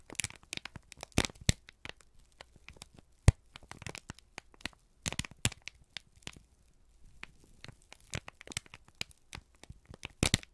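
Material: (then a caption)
Paper. A single thin, crumpled sheet of brown kraft paper is held in both hands and squeezed and crinkled with the fingertips and thumbs. The result is an irregular stream of sharp, dry crackles and crinkles, with many short bright snaps and a few louder pops around one, three, five and ten seconds.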